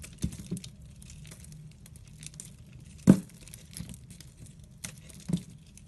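A metal blade cuts and scrapes slices off a solid soap bar, held in the hand, with a pastel sprinkle coating and a layered purple, orange and white core. Soft crinkly scraping and short, dull crunching cuts come over a quiet low background, with one sharper, louder cut near the middle.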